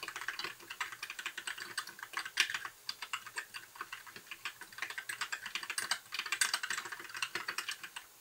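Fingertips of both hands type continuously on a compact white mechanical keyboard with plastic keycaps, blue backlight and a hollow case. Dozens of short, bright, clacky key taps come in quick, uneven bursts with almost no low end, and each tap dies away almost at once.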